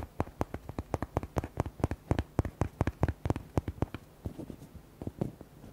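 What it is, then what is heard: Hollow rubber duck toy. Fingertips and nails tap quickly on the body of a red, hollow rubber duck toy with white hearts. The result is a rapid series of short, dry, hollow thuds with bright clicky tops. The taps grow softer and more scattered near the end.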